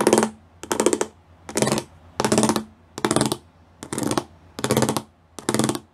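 Several fingertips and nails tap the small square pyramid studs covering a flat grey plastic sheet. Eight short bursts of rapid, dense clicking come at a loose, uneven pace, each with bright crackle and a low hollow tone near 220 Hz. Each burst fades quickly into near silence before the next.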